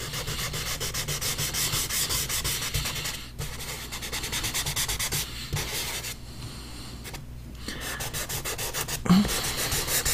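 A hand-held pastel stick is rubbed in repeated strokes over a drawing on a large flat paper sheet resting on a board. It produces a steady, dry, scratchy rasp with bright hiss over a low hum. The stroking pauses briefly a few times and ends with a slightly louder scrape near the finish.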